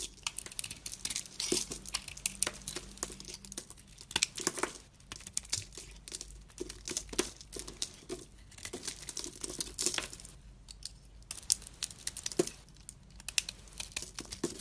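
A segmented utility-knife blade shaves and carves chunks off a solid bar of soap, held in the hand, that has a black and pink coating over a white inside. Dense, crisp, crinkly scraping and cutting sounds come in rapid bursts, bright and high with very little low end. Brief pauses separate some of the strokes.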